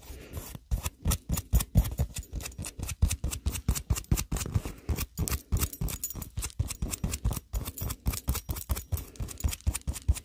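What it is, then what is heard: Foam squishy toy, tapped and scratched with nails. Long acrylic nails quickly tap and scratch along the painted surface of a hand-sized solid polyurethane foam milk-bottle squishy held upright. The result is a rapid, uneven patter of dull, low-heavy thuds with faint bright scratchy edges. Each hit dies away almost instantly.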